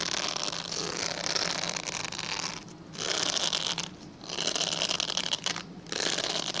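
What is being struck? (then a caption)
Glycerin soap bar. A translucent, pale yellow, palm-sized solid glycerin soap bar is held in both hands and scratched along its surface with fingernails. It makes a dense, bright, crackly scratching with a faint whistling tone near 3 kHz. The scratching comes in long sustained passes separated by three short, quieter pauses.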